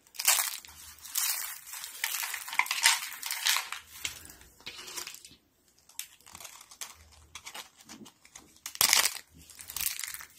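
Thin, brittle stacks and flakes of dried yellow soap sheets in a foil tray are crushed between the palms and fingers with pink nails. The result is dry, bright crunching and crinkling in dense bursts with almost no low end, a brief quiet gap near the middle, and a loud crackle toward the end.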